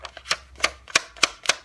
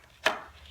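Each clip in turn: First: thin magazine paper. Second: thick heavyweight sketchbook paper.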